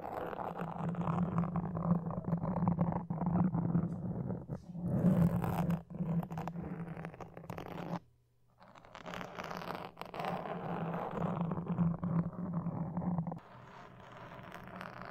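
Wooden toothpicks and fingertips scratch the top of a black foam microphone windscreen, making a dense, rapid, uneven scratching and rustling over a low, steady rumbling hum. The sound drops briefly to near silence about halfway through, then the scratching resumes before settling into quieter rustling at the end.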